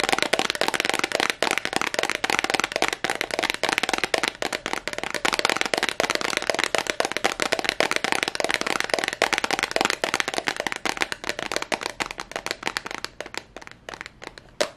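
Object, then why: Small glass perfume bottle. A small, clear, heart-shaped glass perfume bottle with a yellow cap, apparently empty, is held up close and tapped rapidly with long nails. The result is a dense, continuous stream of sharp, bright clicks with almost no low end and very short ring. The taps slow and thin out slightly near the end.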